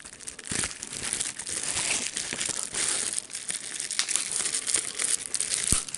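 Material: Plastic.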